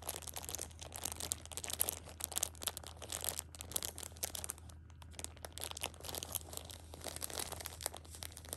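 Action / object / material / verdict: scrape / thin plastic wrap around a pack of pocket tissues / plastic film / none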